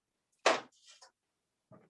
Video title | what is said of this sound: March Jim Cooking Demo | turn it over, knock on the back, and hear the hollow sound. I don't even need to stick a knife in this one. I already know it's just not enough.